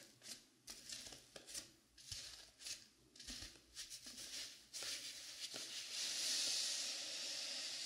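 Long pink nails scratch and rub the top and side of a dark blue velvet-flocked foam mannequin head. It makes a series of bright, hissy scratching strokes at about two per second, uneven in timing. Toward the end they blend into a louder, steadier rubbing hiss.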